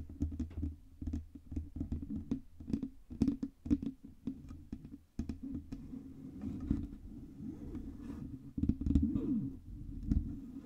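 Long red nails tap quickly on the front and sides of a black Blue Yeti microphone, a hollow metal cylindrical body, producing rapid, soft, dull taps with a low, boomy resonance. The taps run in dense bursts with short pauses, and some stretches blur into a steady, rumbling patter with almost no high or bright content.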